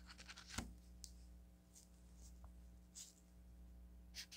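A felt-tip marker writes on a solid stack of yellow paper sticky notes, making short, bright, scratchy strokes. The quiet strokes come in scattered bursts over a steady low hum.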